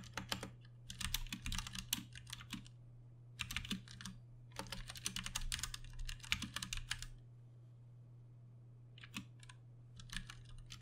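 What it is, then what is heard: Plastic mechanical keyboard. Both hands tap with their fingertips on a Ducky One 2 Mini, a compact 60% RGB-backlit mechanical keyboard with plastic keycaps and Cherry MX Brown switches, resting on a desk. Bursts of fast, bright, clacky keystrokes come in runs separated by short pauses, with each click dying away almost instantly. A steady low hum runs underneath throughout.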